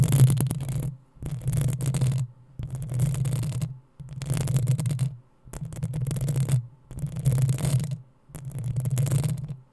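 Long acrylic nails on both hands scratch the hollow, rounded metal mesh grille of a black USB condenser microphone. Seven bursts of scratching, each about a second long with short silences between, produce a deep, boomy rumble around 130 Hz under a faint crackly scraping texture.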